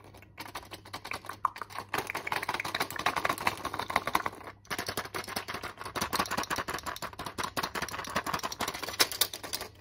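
A flat blister strip of white tablets in clear plastic bubbles on a foil backing is tapped and scratched quickly with long nails. This makes a dense, crisp run of bright plastic clicks and crinkly scratches over a faint steady low hum. The clicking pauses briefly just before the halfway point, then picks up again at the same fast pace.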